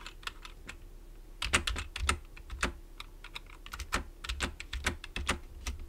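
Fingertips type on a black plastic computer keyboard, with one hand briefly on the right-side keys. Quick, uneven runs of crisp, bright key clicks come with low thumps from the keys bottoming out, and each hit dies away almost at once.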